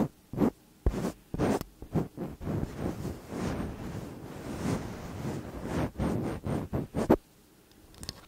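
Long acrylic nails lightly scratch and tap the tops and sides of two slim cylindrical metal condenser microphone bodies. Short, dry taps and scratchy bursts with a low, close-up body give way to a longer continuous scraping stretch in the middle. More quick taps follow before it fades to near silence.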